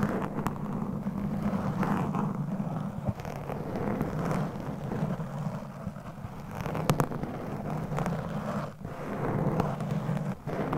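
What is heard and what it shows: Very long, pointed acrylic nails from both hands scratch and tap a single rounded foam microphone windscreen, a soft, hollow cover. The result is a steady, muffled, low rumbling rustle, broken by a few sharper taps and brief dips in level.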